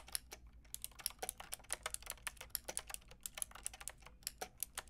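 A Lofree plastic mechanical keyboard with a plastic frame and round keycaps is tapped by fingertips with long red nails. About thirty quick, bright clicks sound in an uneven typing rhythm, each dying away almost instantly over a faint low hum.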